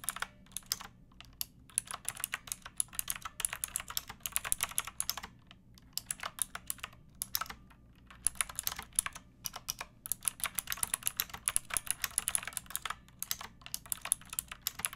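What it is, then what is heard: Plastic mechanical keyboard. Fingertips with long nails type continuously on a pink backlit mechanical keyboard with round plastic keycaps. A steady stream of quick, bright, crisp clicks with almost no ring, broken by brief pauses around 5.5 and 8 seconds, over a faint low hum.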